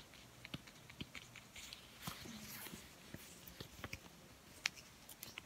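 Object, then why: Deflated rubber balloon. A blue, deflated latex balloon is held and stretched between the hands while fingertips and nails rub and pull at the rubber. It makes quiet, irregular dry scratches and sharp bright clicks, with occasional short squeaks.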